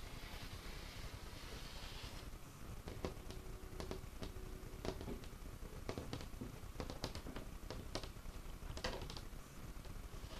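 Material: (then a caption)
Wood. Fingertips and short nails of both hands tap and scratch a large, solid, dark-stained wooden craft tabletop with visible grain. Quiet, dry, short taps and clicks land irregularly over a low, rumbly background, with a soft bright scratching hiss near the start and a faint ringing tone around 375 Hz under some taps.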